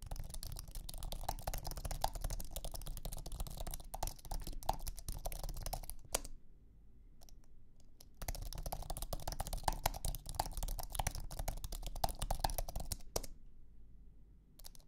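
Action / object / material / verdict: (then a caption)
tap / low-profile keyboard with aluminum base and plastic scissor keys / aluminum, plastic / none. Fingertips type on a thin, low-profile iMac keyboard with an aluminum base and white plastic scissor keys, producing rapid, soft, dense clicking. The typing runs for about six seconds, pauses for about two seconds with only a few stray clicks, then resumes for about five seconds before tapering off to scattered taps.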